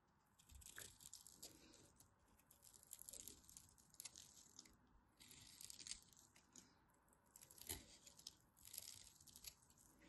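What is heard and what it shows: A solid green-and-white striped bar of soap, pre-scored, is scraped and cut with a hand-held craft knife, sending crunchy chips falling off. Quiet, bright crackling scrapes come in bursts, with sharp crunches standing out over the dry rustle of the shavings.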